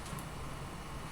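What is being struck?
Nothing is struck.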